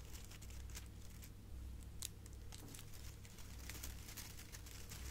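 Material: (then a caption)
Metal foil. A hand-sized, hollow, light silver metallic foil gift bow with curled ribbon strands is held in one hand and crinkled and squeezed with long painted nails and fingertips. Quiet, continuous crinkling is broken by many sharp, bright crackles, over a steady low hum.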